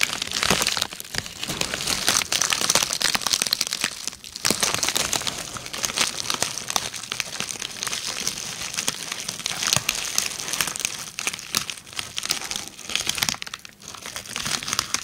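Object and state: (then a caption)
Plastic bubble wrap being crinkled. A sheet of red plastic bubble wrap draped over a microphone is scratched and crinkled with long red-painted nails, producing a dense, continuous stream of bright, high crackling and crinkling. The plastic rustle is sharp and dry, with little low end, and swells and dips in intensity throughout.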